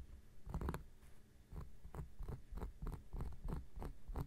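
An x-acto knife blade is scratched across the surface of a large, round, flat coaster of solid cork, which lies on a surface and is held steady by one hand. A rapid series of short, dry scraping strokes follows one after another. Each stroke has a dull, low-heavy rasp that dies away almost instantly.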